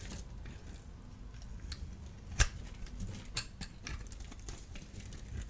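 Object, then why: Bar of soap. A solid orange-and-white striped bar of dry soap, held in the palm, is scored and scraped with a small blade tool, and flakes fall away. Short, dry, crisp scratches and ticks sound over a quiet low rumble, with one sharper crack partway through. Each sound stops almost at once with no ring.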